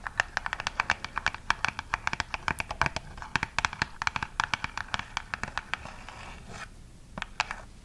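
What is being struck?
Printed cardboard box.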